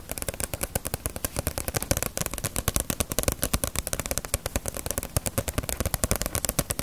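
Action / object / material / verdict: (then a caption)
tap / paperback book with glossy paper cover / paper / none. A small, solid Ace of Diamond paperback manga volume with a glossy paper cover is held in both hands while long nails tap rapidly on its cover. Around 49 quick, dry taps follow one another without pause, each a short crisp click with a low papery thump and a bright edge that dies away almost instantly.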